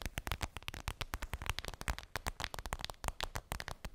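Long pink nails tap and scratch a flat, transparent PVC makeup bag with a daisy print and a zipper, lying on fluffy fabric. A rapid, uneven run of crisp plastic clicks and short scratches follows, each with a soft low thump and a bright crackly edge, dying away almost instantly.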